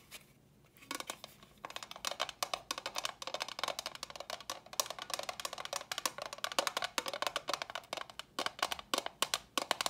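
Long fingernails tap rapidly on a small, hollow, empty box of clear rigid plastic. After a brief quiet start, dense, fast runs of dry, bright clicks follow, each with a hollow mid-range knock and almost no ring or low end.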